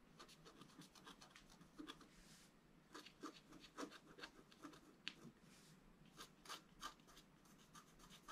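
A thin wooden stylus scratches across a flat black-coated scratch-art card held down by one hand. Quiet, dry, bright strokes come in quick irregular bursts with a steady faint rasp between them. Each stroke stops sharply with no ring.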